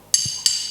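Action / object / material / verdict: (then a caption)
strike / iron piece struck with a hammer / iron / intact. A hammer knocks twice on a piece of iron, giving two sharp, bright metallic clinks that ring briefly. The iron is unharmed by the strikes.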